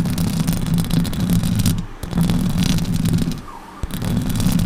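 Long orange nails scratch the hollow metal mesh grille of a silver Blue Yeti microphone from both sides, producing a dense, rumbling scrape with a heavy low buzz and some bright hiss. The scratching drops out briefly just before the 2-second mark and again around 3.5 seconds, where a single sharp tap lands before the steady scraping resumes.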